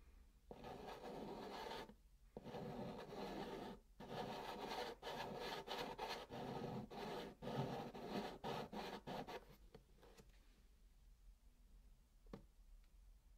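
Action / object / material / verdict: scrape / chalk on cardboard box / cardboard / none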